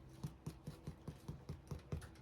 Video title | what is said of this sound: Bread Mania with No Camera Man!!?? | when you tap them, you want it to sound like that. Your loaf is done.